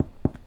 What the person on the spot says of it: that Hollow sound is what makes you know that the dough is fully cooked on the inside